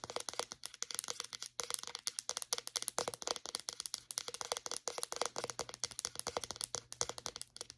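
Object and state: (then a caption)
Plastic deodorant stick. A white plastic deodorant stick, held upright, is tapped with long nails on its label and cap. Rapid, crisp, high-pitched clicks and light rattling taps follow one another in quick bursts, each dying away almost instantly, over a faint steady low hum.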